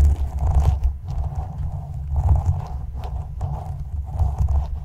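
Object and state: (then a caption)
Metal mesh microphone grille. A translucent plastic spoon held in the fingertips is scraped across the front and top of the black woven metal mesh grille on a condenser microphone's hollow dome. It produces a deep, rumbling scratch dominated by low boom, with a faint gritty band in the midrange. The strokes come in repeated, slightly uneven passes that keep the sound continuous with only brief dips between them.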